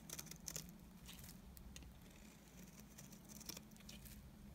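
A utility knife blade scrapes shavings off the face of a solid, dry, cream-colored rectangular bar of soap. Quiet, crisp scraping and crackling strokes come in uneven bursts with bright, papery detail over a steady low hum.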